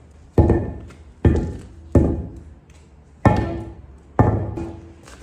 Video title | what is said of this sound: CONSTRUCTION DE L'ENTREE - Maçonnerie parpaing & assainissement - VLOG Rénovation #17 | je sais pas si vous entendez la différence mais nous en tout cas on pense que ça sonne creux encore une fois ici